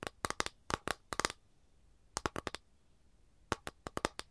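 Long nails tap and scratch across an empty, flat capiz shell tray held up in the air, making about 18 sharp, dry clicks. The clicks come in three bursts separated by quiet pauses. Each tap is crisp and bright with a light resonance around 1.2 kHz, and it dies away almost instantly.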